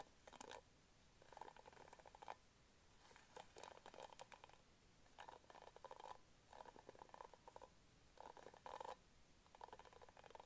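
Fingernails scratch across the pink plastic bristles of an orange-handled hairbrush held in both hands. The result is a series of short, dry rasping bursts, centered in the midrange with a bright crackle, separated by brief quiet pauses.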